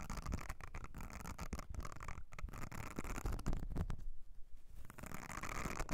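Long nails scratch the nubbed texture of a thin, flat, blue silicone makeup brush cleansing mat held on its edge. The result is a dense, steady stream of soft, rubbery scratching with faint low thumps, dipping briefly quieter about two-thirds of the way through before the scratching resumes.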